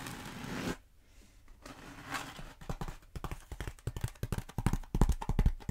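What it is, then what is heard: Foam roller scratched and tapped with nails. Long acrylic nails scratch and tap the surface of a long black bead foam roller held upright. A dry, bright scraping rush fades into a brief near-silence, then gives way to a fast, uneven run of short, clicky taps and scratches with soft low thumps that grow louder toward the end.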